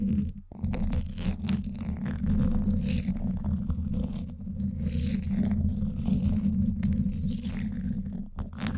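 Two thin wooden sticks scratch both sides of the woven steel mesh grille on the hollow dome of a Blue Yeti microphone. The result is a dense, continuous, low scraping rumble with a steady tone near 190 Hz and faint bright rasps above it. There is a brief pause near the start and a short dip just before the end.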